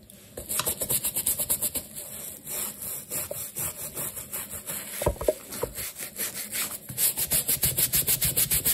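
A wooden-handled bristle brush scrubs the black textured rubber outsole of a sneaker, which is wet with lather. Rapid back-and-forth strokes make a rhythmic, scratchy rubbing with a bright bristle hiss, and a few louder scuffs land partway through. The strokes speed up toward the end.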